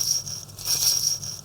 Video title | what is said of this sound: BVLGARI Octo Finissimo Ultra COSC (Only 1,70 mm thick!!) presented at Watches and Wonders 2024. | This is the sound of the rotor. Of course, I've been shaking it quite heavily, so you will not hear that noise on your wrist